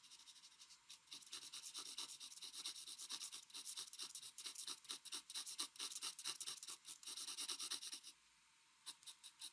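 A mechanical pencil scratches quick shading and hatching strokes across a flat white drawing paper sheet. Bright, dry, rasping scrapes come in rapid, uneven bursts. They pause briefly near the end, then resume with a few final strokes.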